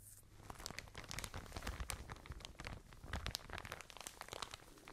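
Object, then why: Plastic packaging bag of cotton pads. A soft white and blue plastic packaging bag full of cotton pads is crinkled and tapped with long nails. The result is a steady stream of crisp, crackly crinkles and quick taps. Bright rustling sits over a soft low rumble.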